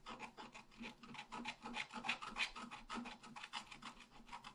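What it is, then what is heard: Scratch art paper being scratched. A wooden stylus scratches the tree trunk area on a flat, black-coated scratch art paper sheet. Quick, steady back-and-forth strokes make a bright, dry rasping with short bursts that fade almost at once. The steady stroking rhythm runs through the whole clip at a soft level.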